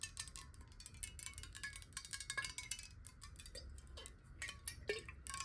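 A clear glass water bottle, held horizontally and hollow with some water inside, is tapped rapidly with long nails. The result is a dense stream of quick, bright clicking taps with short glassy rings over a faint low rumble.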